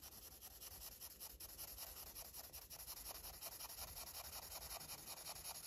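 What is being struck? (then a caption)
Felt-tip marker on a paper page. A red felt-tip marker is rubbed back and forth on a flat, thin paper page of a coloring book to fill in a parrot, while the other hand holds the marker cap and steadies the page. A quiet, bright scratchy swishing repeats in a steady rhythm of quick strokes, with most of the sound in the high range.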